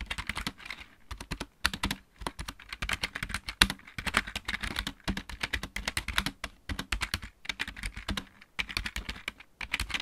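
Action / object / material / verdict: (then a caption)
tap / plastic mechanical keyboard / plastic / none. Both hands type on a full-size backlit plastic mechanical keyboard with fingertips and painted nails. A steady run of quick, dry, bright clicking taps comes in rapid bursts, each click dying away almost instantly. Short pauses fall between the bursts.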